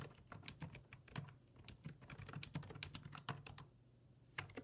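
Fingertips type on the hollow plastic keys of a black plastic full-size computer keyboard resting on a wooden desk, producing quiet, rapid clicking taps with bright edges over a steady low hum. The keystrokes come in an uneven run, pause briefly near the end, then return with a few final taps.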